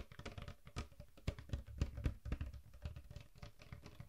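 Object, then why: Large plastic bottle of dark liquid. A large plastic Coca-Cola bottle with a red label, mostly full of dark liquid, is held in both hands while fingertips tap and scratch its label and body. The result is a quick, irregular patter of soft, dull, low thumps, each dying away almost instantly, with faint scratchy rustling between them.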